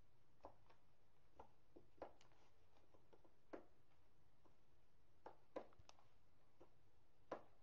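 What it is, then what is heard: Gym chalk block being crushed. Fingertips press into a small, fluted, white gym chalk block of magnesium carbonate, solid and dry, standing on a granite counter, breaking it apart. The chalk scratches and crumbles in quiet, irregular soft cracks and gritty crunches, each fading quickly over a low, steady background hush.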